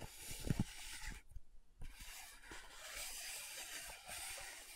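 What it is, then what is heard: Plastic powder jar lid. Long nails scratch and tap the glossy top of a small round plastic loose powder jar's dark purple lid. One sharp, low tap stands out early, over a steady bright, hissy scratching that briefly drops out before resuming.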